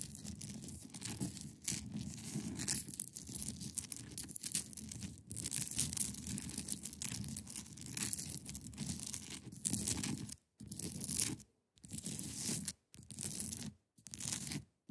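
Long pointed nails scratch across the top of a large, solid, clear ice block resting on a fabric surface. The result is a steady, raspy scraping with a bright hiss over a soft low body. In the last few seconds it breaks into short bursts of scratching separated by brief silences.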